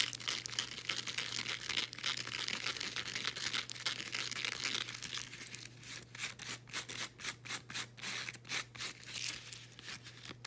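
Long green acrylic nails scratch a folded blue woven elastic fabric resistance band, making a bright, dense rasping scratch for the first half. It then breaks into quicker, separate rhythmic scratching strokes, over a faint steady low hum.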